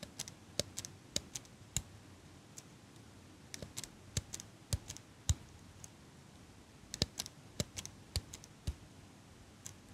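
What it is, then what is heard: Metal eyelash curler. A small metal eyelash curler is held close to the microphone while fingers and long nails squeeze and click its metal parts. About 29 sharp, bright clicks and taps come at an irregular pace over a soft, steady hiss, each dying away almost instantly.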